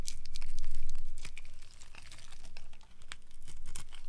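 A solid, pale yellow rectangular bar of old, dry soap is held in the hand and carved with a utility knife blade, cutting off crunchy flakes. Dense, crackling crunches and bright scraping clicks run steadily throughout, swelling and easing slightly as each pass of the blade shaves the bar.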